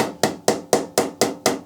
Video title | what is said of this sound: Woodturning Lesson 8/11 - How to turn a nice platter | and it goes solid ... so I know that it's gone to the bottom and this is this is correct